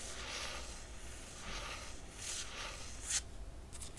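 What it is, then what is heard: Hardcover book cover being scratched. Long nails trace and scratch across the top of a closed hardcover book with a laminated cardboard cover. Soft, airy swishes rise and fade in slow strokes over a low steady hum, with one sharper, brighter scrape standing out near the end.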